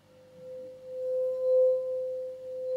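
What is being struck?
Nothing is struck.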